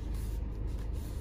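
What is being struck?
Nothing is struck.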